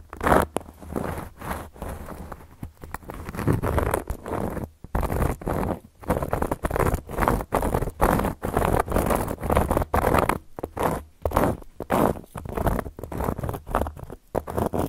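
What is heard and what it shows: A round, flat, solid cork coaster is scratched and tapped with long gold metal claw nails. Quick bursts of dry, muffled scratching and soft tapping follow one another with short pauses. The sound sits in the low and middle range with almost no bright edge.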